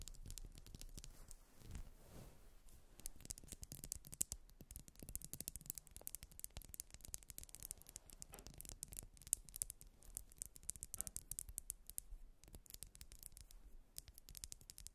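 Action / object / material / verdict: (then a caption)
scrape / ribbed wax pillar candle / wax / none. A grey ribbed solid wax pillar candle is held upright between hands while long nails scratch and rub along its grooves. The result is a dense run of quick, dry, bright scratching clicks over a soft low rumble, with a brief duller rubbing sweep near the start.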